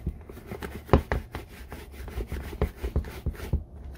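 A red handheld applicator brush is rubbed rapidly across the upper of an empty brown leather Red Wing Iron Ranger boot held in hand. About a dozen quick, dull brushing strokes are heard, each a short, soft scuff with a low, hollow body and very little brightness.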